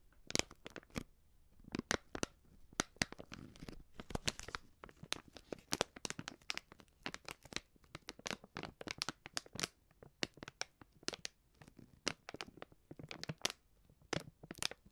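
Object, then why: Plastic film pouch of powder. A hand-sized white plastic-film Coop Prix Streuwürze seasoning pouch, filled with powder, is held in both hands close to the mic and crinkled and scratched with fingertips and long nails. Quick, dry crackles and rustles pile up in dense bursts, bright and crisp with little low end and no ring after each sound. It stays quiet and steady throughout.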